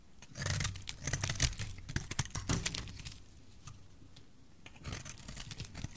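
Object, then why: Bar of soap scraped with a knife blade. A solid olive green bar of dry soap, held in the hand, is scraped with a metal utility knife blade, making rapid dry, crackly scraping and shaving strokes with a bright, gritty texture over a low rumble. The scraping is busiest in the first three seconds, eases to a quiet rustle, then picks up again near the end.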